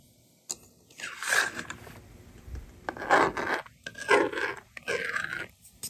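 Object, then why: Plastic stylus on a plastic magnetic drawing board. A yellow plastic stylus scratches numbers onto the honeycomb screen of a handheld, hollow plastic toy magnetic drawing board. It makes dry, scratchy scraping strokes in uneven bursts, bright and rasping with a mid-range tone and short pauses between them. Each stroke stops quickly with almost no ring.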